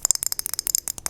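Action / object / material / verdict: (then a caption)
shake / plastic pill bottle containing tablets / plastic / none. A plastic bottle of Prozac tablets is shaken, so the pills rattle inside it. The result is a rapid run of short, bright, dry clicks with almost no low end, each dying away instantly.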